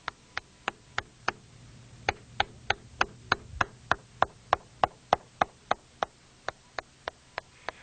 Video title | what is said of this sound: Inspection of Concrete and Masonry Dams | drummy concrete can be detected by tapping on the surface with a hammer note the hollow sound